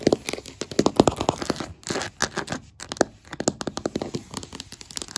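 Long black acrylic nail tips quickly tap and scratch solid oak-grain wooden floorboards. The result is a rapid run of short, dry clicks and taps centered in the low-mid range, with bursts of brighter scratching and crackling in between.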